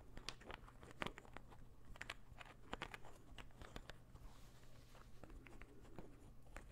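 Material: Wood.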